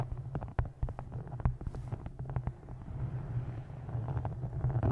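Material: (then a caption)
Faux leather. Long nails tap and scratch across the textured, embossed faux-leather cover of a solid, dark green hardcover book held upright. Quick, dull taps land over a steady deep rumble, with softer scraping between them and a few louder knocks toward the end.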